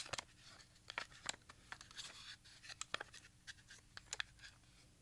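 A small, hollow black plastic RadioShack audio cassette with a handwritten label is held in both hands and tilted while the fingertips click and rub against its shell. Over a dozen sharp, bright clicks stand out above a soft, continuous scratchy rubbing. Each click stops almost instantly, with no ring.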